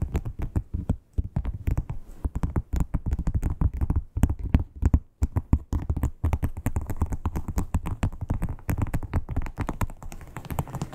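Long acrylic nail tips tap rapidly on a flat red crocodile-textured, croc-embossed leather wallet. They make a dense stream of short, dull, low thuds with almost no ring and little brightness, broken by brief pauses near one, four and five seconds.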